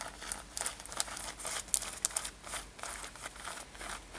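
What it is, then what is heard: Denim top scratched with nails. Long nails scratch the surface of a light-blue denim corset-style top with ruffled seams, metal eyelets and a brown leather lace, worn on the body. The result is quiet, dry, bright rasping and crinkling in quick, irregular strokes, with a few sharper scrapes standing out and almost no low end.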